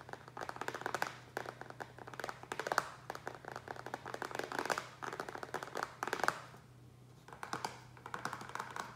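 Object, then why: Small upturned plastic tray. Fingertips and nails rapidly tap the base and sides of a small, rectangular, hollow black plastic tray that rests upside down and empty on a wooden table. Bursts of quick, dry, hollow clicks come with brief pauses, and each tap dies away almost at once. A faint steady low hum runs underneath.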